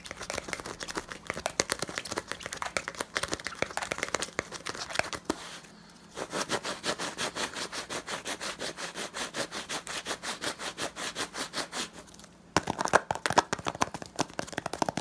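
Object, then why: Small plastic jar with plastic screw lid. Fingertips and nails rapidly tap and scratch the blue plastic screw-on lid and labeled sides of a small hollow plastic jar held in one hand. The result is fast, dry, bright clicks and scratchy rasps with almost no ring, plus a faint steady low hum underneath. The tapping pauses briefly twice, then resumes in an even, rhythmic run before ending in a louder burst.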